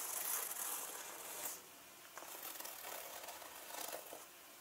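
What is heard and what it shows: Fingers with long nails scratch a turquoise leather handbag with gold zippers lying on a table and pull its zipper tabs. Quiet, bright, scratchy rustling and faint zipper clicks blend together, softening briefly before the scratching returns in short bursts.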